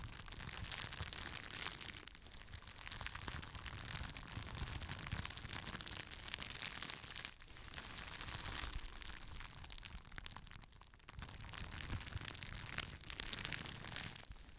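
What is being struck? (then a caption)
Plastic bubble wrap sheet. A small, folded sheet of clear plastic bubble wrap is held in both hands in front of a microphone while fingertips squeeze, crinkle and press the bubbles. This makes a dense, continuous run of bright crackling and popping, with brief quieter dips around 7 and 11 seconds.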